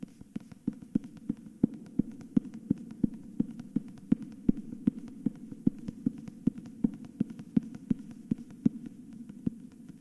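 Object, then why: Hardcover book with paper dust jacket. Fingertips tap and scratch the edge and front cover of a hardcover book with a paper dust jacket. Quick, short, dull taps repeat in a steady, even rhythm over a soft continuous scratching hum, with a low-mid body around 220 Hz and no bright ring.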